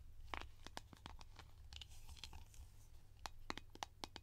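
Long painted nails tap and scratch the surface of a round blue plastic Nivea cream tin lid held in the hands. Sharp, dry clicks and crisp scratches come in irregular bursts, each ending almost instantly, over a steady low hum.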